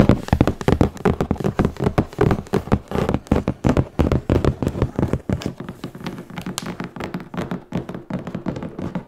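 Fingertips and nails tap and scratch the top of a large, hollow, closed corrugated cardboard shipping box for a noblechairs chair, lying on a bed with a microphone resting on top. A rapid, irregular series of dull, low, hollow thumps with very little ring is heard, mixed with soft scratching. The taps grow quieter and more scratch-like in the second half.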